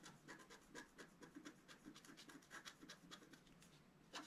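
A wooden stylus scratches away the black coating of a flat scratch-art card, exposing the colored foil layer beneath, as the sheet lies flat on a table. It makes a quick, steady series of fine, dry scratching strokes, each a short, bright rasp with a faint midrange tone and almost no ring. The sound stays soft and light throughout.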